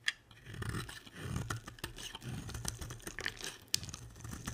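A box-cutter blade scrapes and carves chips off a solid, dry, hand-sized purple and pink bar of soap. Dry, crackly scraping strokes with a low, rough undertone follow one another, broken by a few sharp, bright clicks as chips break away.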